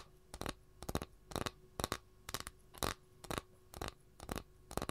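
Long nails scratch the surface of a flat, empty capiz shell tray held in both hands, making repeated short, dry, broadband scratching strokes at an uneven pace of about two per second. Each stroke cuts off quickly into quiet gaps over a faint, steady low hum.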